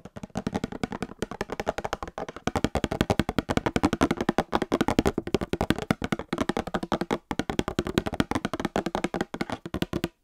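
A small printed cardboard Star Wars trading card box with card packs inside is held close to the microphone and tapped rapidly with long painted nails. The result is a dense, continuous stream of short, dry, hollow taps with a warm low-mid body, little brightness and almost no ring, dipping briefly in a few spots.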